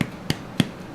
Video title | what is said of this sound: Belizean Creole Bread 1 Loaf in the Toaster Oven | that's how you know that it's cooked all the way through